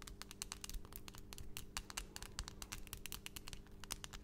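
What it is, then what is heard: Acrylic nails tapped together. Long, pointed, solid acrylic nail extensions in pastel colours on both hands are quickly tapped and clicked against each other close to the microphone. The result is a fast, irregular run of about 29 sharp, bright clicks that die away almost instantly, over a faint steady low hum.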